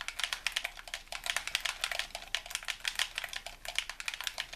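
A hollow white plastic handheld game controller is held in both hands while thumbs and fingertips rapidly press and tap its buttons. About thirty quick, sharp, bright plastic clicks patter in an uneven stream, each dying away almost instantly, with almost no low end.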